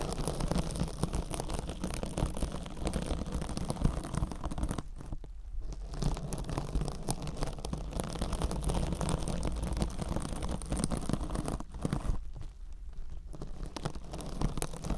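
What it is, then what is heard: Metallic scouring sponge. A rectangular kitchen scrub sponge wrapped in silver metallic-fibre mesh, soft and compressible, is held against a microphone ear and scratched with long orange acrylic nails. The result is a dense, continuous crackling and rustling scratch, heavy in low rumble. It briefly thins out near 5 seconds and again near 12.5 seconds.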